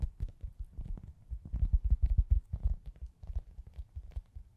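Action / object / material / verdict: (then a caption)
tap / foam pizza-slice squishy toy / foam / none. A hand-sized, soft, solid foam pizza-slice squishy toy is held in both hands and tapped and scratched with long acrylic nails. Quick, irregular, muffled low thumps with faint scratchy texture above them swell louder in the middle and fade again.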